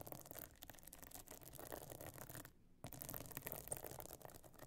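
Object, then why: Pebble-encrusted metal-frame clutch bag. Long nails on both hands scratch across the stone-chip encrusted top of a closed, pebble-encrusted metal-frame clutch bag lying flat. Dense, fast, gritty scratching fills the clip, stops for a brief silent gap just past the midpoint, then resumes slightly louder until the end.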